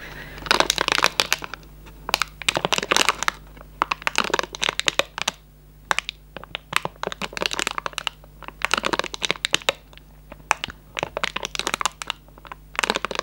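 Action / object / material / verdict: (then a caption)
scrape / cardboard candy box / cardboard / none. The cardboard flaps of an opened Raffaello candy box are bent and rubbed with fingertips, making bright, crisp crushing and crinkling in bursts of crackle separated by short pauses. A faint, steady low hum runs underneath throughout.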